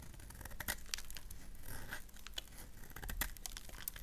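A solid black bar of soap is shaved with a gold knife so flakes fall off, and the bar is briefly turned in the hands. The clip is full of quiet, dry scraping and crisp, crinkly cuts, with many short bright snaps over a soft low rumble.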